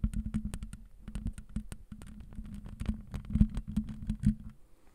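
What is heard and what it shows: Long acrylic nails on both hands scratch and tap across the rounded black perforated metal mesh grille of a handheld-sized condenser microphone with a hollow head. Rapid, dense clicky taps and scratches ring out briefly over a boomy low rumble with a steady hum around 200 Hz. The tapping fades near the end.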